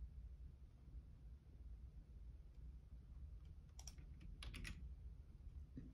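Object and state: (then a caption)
Plastic computer keyboard being typed on. Fingertips type on the left-side keys of a black plastic Logitech keyboard, giving a few quiet, bright clicks. The clicks cluster in short bursts between about 3.8 and 4.8 seconds, with one softer tap near the end. They sit over a steady low hum.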